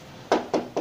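Three sharp knocks on the steel body panel of a Vespa scooter ring out clearly, each with a short, bright midrange tone. The panel sounds solid, with no sign of a patch repair.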